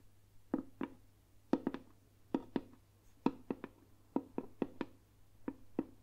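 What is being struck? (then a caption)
Round lacquered wooden box. A round, hollow, lacquered Burmese box with a carved lid is held in one hand and tapped quickly with the long nails of the other hand. The taps come in quick pairs and triplets of short, hollow clicks with a low woody tone near 270 Hz. Each click dies away almost at once over a faint steady hum.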